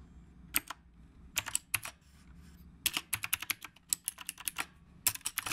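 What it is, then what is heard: Typewriter-style mechanical keyboard. A retro typewriter-style mechanical keyboard with round plastic keycaps is typed on steadily with the fingertips of both hands. Quick, bright clicks come in uneven bursts with short pauses between them. Each click is sharp with almost no ring, over a faint low hum.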